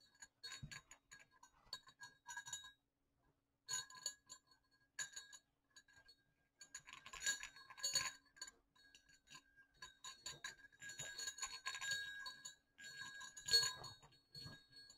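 Two small hollow silver metal jingle bells on a cord are repeatedly brought together and clinked, making quiet, bright metallic clicks and dings in irregular bursts with short pauses between them. The tone is high and glassy with almost no low end, and each clink dies away quickly.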